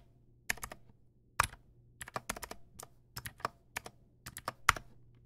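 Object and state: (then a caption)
Mechanical keyboard typing. Fingertips type on a backlit Teamwolf Zhuque+ X08 plastic mechanical keyboard with white plastic keycaps and clicky blue switches, producing about 19 sharp, bright clicks in uneven bursts with pauses between them. Each click is crisp and dies away almost instantly over a faint steady low hum.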